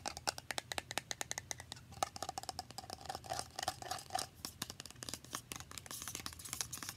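Long painted nails rapidly tap and scratch a small, partly filled, translucent plastic facial spray bottle, producing a dense stream of sharp, bright clicks and scrapes. For roughly the middle two seconds, a faint resonant tone around 770 Hz rings beneath the taps before the rapid clicking continues.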